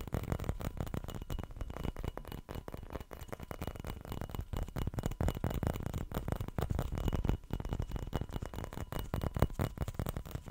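Fingertips and nails tap and scratch the body and green cap of a small round dark glass perfume bottle with a ring emblem, held in both hands in front of the face. The result is a dense, continuous stream of quick, dull taps and soft scraping for the whole clip, heavy in low frequencies with short, dry decays.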